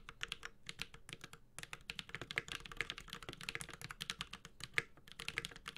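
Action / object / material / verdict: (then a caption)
tap / mechanical keyboard with aluminium case and plastic keycaps / aluminium, plastic / none. A Space65 Cybervoyager 65% mechanical keyboard with Holy Panda switches, an aluminum case and ABS keycaps is typed on continuously with the fingertips of both hands. It produces a rapid, uneven stream of dozens of short, bright, clacky keystrokes with a quick decay. A faint low thock sits under each press.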